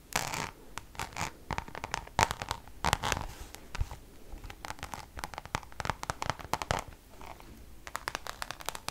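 Long colorful nails scratch the surface of a flat, hand-sized Louis Vuitton Damier checkered coated canvas zip pouch. The result is a quick run of dry, brushy scratching strokes, mostly short and clustered, with some longer rasps, bright hiss on top and a soft low thud under a few strokes.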